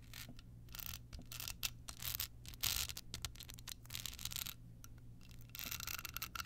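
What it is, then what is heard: Rhinestone-covered card holder. A small, hollow, rhinestone-covered card holder with a red bow is turned in the hands and scratched with long nails. It makes bright, gritty scratching and clicking bursts, some longer rasps and some short taps, over a steady low hum.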